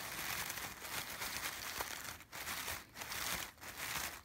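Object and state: Artificial fabric sunflowers.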